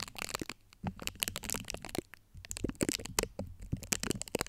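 Long acrylic nail tips scratch across the top of a large USB microphone's domed, hollow steel-mesh grille. The result is a rapid, dense run of sharp, dry crackling scrapes and clicks, bright and crisp with almost no ring. A faint low rumble sits underneath, and brief quieter pauses fall between the bursts.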